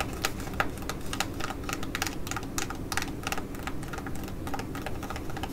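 Long nails tap and scratch across the surface of a flat, orange, glossy laminated plastic foil patch mask pouch. A quick run of crisp, bright clicks and scratchy crinkles repeats steadily, each one short and dry, over a soft low rumble.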